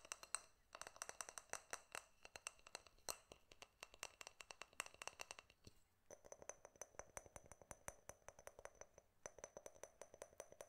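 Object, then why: Glass jar with metal screw lid. A small, clear, empty-looking glass jar with a silver metal screw lid is held in both hands close to the mic and tapped with fingertips and nails on the glass and the lid. The result is a quick, steady run of short, dry clicks with high, bright ringing overtones. After a brief pause near the middle, the tapping returns with a fuller, lower tone around 600 Hz.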